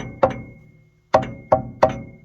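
A pressure-washed section of a 1983 Toyota truck's steel frame is tapped four times to check it for rust. Each tap gives a sharp metallic knock with a short mid-pitched ring that fades quickly. The part sounds solid and good.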